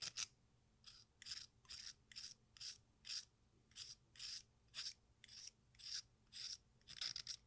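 An exacto knife blade scrapes along the red face and green rind edge of a solid watermelon-shaped sidewalk chalk slice held in hand, shaving fine dust into a pink bowl. A steady series of short, bright, raspy scraping strokes sounds, evenly spaced with brief silences between them.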